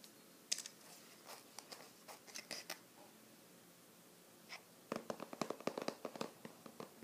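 A small, flat, light-blue printed cardboard Skoshbox subscription box, closed and likely holding snacks, is held in one hand while the fingertips and nails of the other scratch and tap its printed surface. Quiet, dry, bright clicks and scratches come in scattered bursts with short pauses between them. A denser run of sharp taps follows near the end.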